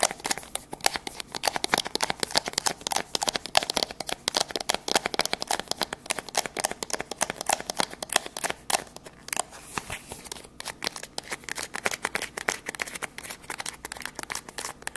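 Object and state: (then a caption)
Cardboard box. Long grey nails rapidly scratch and tap a hollow, white printed MOVO cardboard box held with its open end forward. The result is a dense, continuous stream of crisp, bright clicks and scratchy rustles with almost no low end. Each tap is dry and dies away instantly.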